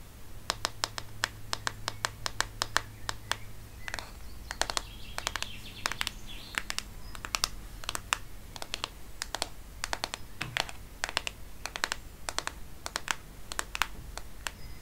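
Long painted nails tap and scratch the back and edge of a black plastic-backed smartphone held sideways. Quick, sharp, dry clicks come in uneven bursts, with a stretch of brighter scratching in the middle, over a faint low steady hum.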